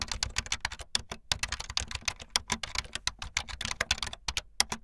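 Fast typing on a full-size backlit plastic Bluetooth membrane keyboard with white and blue plastic keycaps and a hollow plastic body, with keys pressed by fingertips and the tips of long painted nails. About thirty quick, bright, clicky taps come in a steady rapid stream, each dying away almost instantly with a light hollow clatter underneath.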